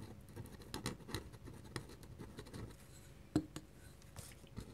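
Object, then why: Paper sheet scratched by a metal pen nib. A metal pen nib scratches short ink strokes near the edge of a drawing on a flat white paper sheet. The result is a quiet series of brief, dry scratches with soft low rustle and little ring, and one sharper stroke stands out near the end.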